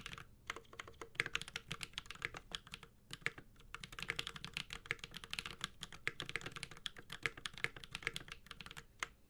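A Space65 Cybervoyager 65% mechanical keyboard with an aluminum case, Holy Panda switches and ABS keycaps is typed on continuously with the fingertips of both hands. A fast, steady stream of short, bright clacks and taps centers around 2 kHz, with a soft low thock beneath each keystroke. Each stroke dies away almost instantly.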